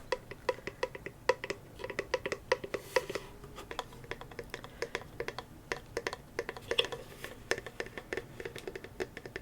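Fingertips tap rapidly and lightly on a hand-painted wooden box with freehand roses on it; it holds contents, so it is kept fairly level rather than tilted around. The taps are short, dry, hollow clicks with a woody tone near 500 Hz, coming in quick irregular bursts and dying away almost instantly.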